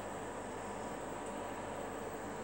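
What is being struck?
Nothing is struck.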